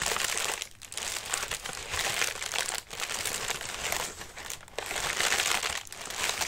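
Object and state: Paper lantern, crinkling tissue paper.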